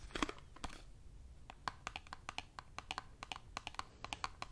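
Long nails tap and scratch a small printed cardboard Dove soap box, closed and holding a bar. The result is a quick, uneven run of dry, crisp clicks with bright edges and almost no ring, plus a faint scratchy rustle between the taps at a quiet level.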